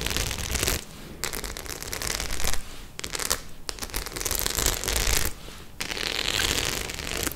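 Long nails scratch and flick across the rows of studs on a white studded faux-leather clutch bag. The result is bursts of dense, bright crackling and scraping that break off into short quieter gaps, with a soft low rumble underneath.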